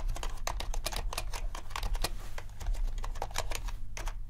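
Fingertips type rapidly on a compact mechanical keyboard with black and white plastic keycaps, then the index fingers tap single keys. The result is a dense run of sharp, bright plastic clicks with short decays over a steady low hum.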